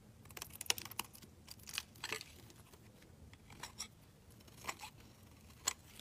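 A solid, translucent orange glycerin soap bar, held in the fingers, is shaved into curls with a utility knife blade. Each pass makes a short, bright, crisp scraping crackle, separated by quiet gaps. The sound is soft overall and sits mostly in the high range with little low end.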